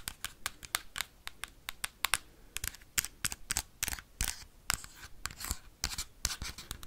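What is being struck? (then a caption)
Plastic game console back tapped with metal paperclips. Metal paperclips worn on the fingertips rapidly tap and scratch the hard plastic shell on the back of a Nintendo Switch console. About thirty sharp, bright clicks come in quick uneven bursts, mixed with short scratchy rasps. Each hit is dry and stops at once with no ring.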